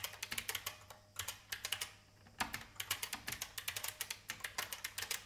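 Fingertips with long painted nails type on an old beige IBM full-size plastic mechanical keyboard with a hollow case. Quick bursts of bright, clacky taps are broken by brief pauses, each tap dying away almost at once.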